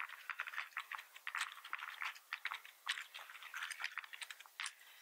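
Fingertips of both hands type rapidly on a full-size black plastic membrane computer keyboard with red keys and a hollow plastic housing, resting on a wooden desk. A quick, uneven stream of light plastic clicks and taps is heard, midrange and bright with no low end, each tap dying away almost instantly.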